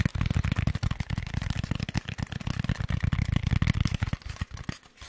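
Rapid tapping on a Styrofoam packaging insert for a microphone produces a dense stream of short, sharp, dull knocks with almost no ring. The knocks are deep and low-pitched with little high-end crispness, and they thin out and fade toward the end.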